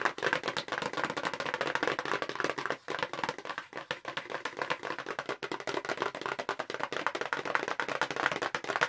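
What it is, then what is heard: Paperboard box. A hollow, light-blue paperboard makeup brush box is tapped quickly across its face with the long pink acrylic nails of both hands. It makes a dense, continuous stream of crisp, dry clicks, centred in the mid and upper range with almost no low end. The clicks have very short decay and pause only briefly, just before the three-second mark.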